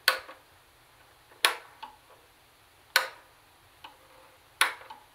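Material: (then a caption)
Plastic. Long nails tap on the black plastic CD lid and small buttons of a plastic CD cassette boombox. Four sharp, bright clicks land about one and a half seconds apart, each followed by a softer secondary tick, and they die away almost instantly.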